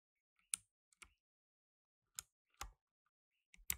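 Gloved fingertips in blue nitrile press keys on a solid black tenkeyless mechanical keyboard with plastic keycaps, resting on a dark mat, with the mic in front left untouched. Sparse, irregular typing taps produce short, bright clicks with a little low thump and almost no ring, separated by silence.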